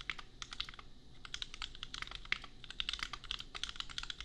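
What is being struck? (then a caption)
Plastic mechanical keyboard. Fingertips type fast on a $250 custom compact mechanical keyboard with Gateron Milky Yellow switches and red and pink plastic keycaps. It makes a steady stream of quick, bright plastic clacks that die away almost instantly, over a faint low rumble.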